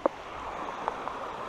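Three short knocks on a solid river rock, in contrast to a nearby spot that sounds hollow. A sharp, dull knock comes first, then two softer ones near the end. Each is brief with almost no ring, over a steady broadband hiss.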